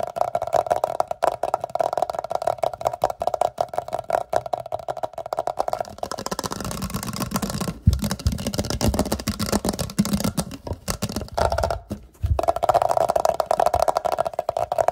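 Fingertips and short nails tap and scratch quickly on an empty, hollow clear glass jar resting on a towel. A dense stream of rapid, dull clicks carries a hollow midrange ring, shifts in the middle into a softer, rougher scratching with more low body, then returns to fast tapping. The short, dry hits die away almost immediately.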